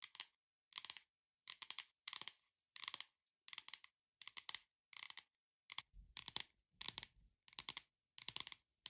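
Long nails tap and scratch across the flat, solid printed paper-over-board cover of a hardcover "Beetle House" cookbook. About a dozen short, bright clusters of quick dry clicks and scratchy rasps are separated by brief silences. Some of the later bursts carry a faint low thud from the board.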